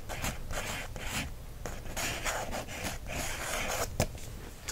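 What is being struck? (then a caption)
Paper book page traced with a wooden stick. A wooden stick traces and scratches across the paper of an open coloring book's line-art page. It makes a series of dry, scratchy rubbing strokes with bright hiss and a low rumble underneath, plus one sharp tap near the end.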